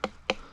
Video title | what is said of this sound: How to tell when Watermelon is Ripe | this one sounds a little more hollow than the other one, so I think this one's going to be ready for harvest